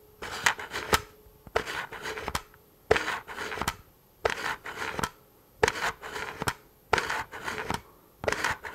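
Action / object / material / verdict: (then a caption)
scrape / plastic rifle magazine / plastic / none. A hand-sized tan polymer rifle magazine, hollow and seemingly empty, is held in one hand close to the microphone while the fingertips and short nails of the other hand scratch and tap along its ribbed side. Bright, dry plastic scratching comes in short bursts broken by sharp clicking taps, with brief quiet pauses between clusters and almost no ring after each tap.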